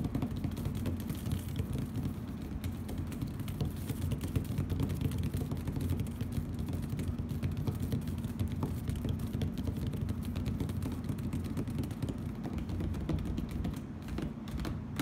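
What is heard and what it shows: Fingernails on both hands tap and scratch quickly over a flat plastic heart-print tablecloth laid on a hard table. The result is a steady, dense patter of dull, low-heavy taps and scrapes with very little brightness, each one dying away almost at once.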